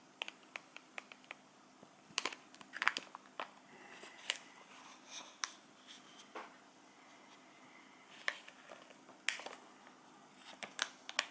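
A small round clear plastic tray with cheese inside is held in the hands and tapped and crinkled with fingertips and nails. Sharp, dry, bright clicks and crinkles come in scattered bursts over a quiet background, with no low end and almost no ring after each tap.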